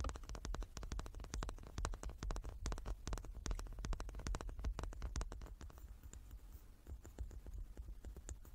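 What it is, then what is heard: Wooden die tapped and scratched. Long nails rapidly tap and scratch the faces of a hand-sized solid light wooden die with dark painted pips, held in both hands. Dense, dry clicks that die away almost instantly sit over a steady low rumble. In the last third the taps turn sparser and softer as scratching comes through more.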